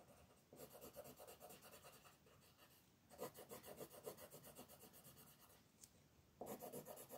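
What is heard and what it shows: A wooden colored pencil, held in the fingers, shades small areas of a thin paper coloring book page lying flat, while long-nailed fingers hold the page. Quick back-and-forth rubbing strokes make a soft, raspy scratching with a bright edge. The strokes come in three bursts separated by brief quieter pauses.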